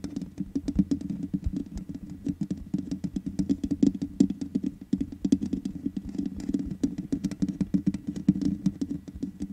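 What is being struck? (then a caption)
Metal mesh microphone grille. Long nails tap rapidly on the hollow metal mesh grille of a black microphone, producing a dense, continuous patter of short, dry clicks. The taps blend into one another without pause, with a low, resonant body around 200–300 Hz and quick decay.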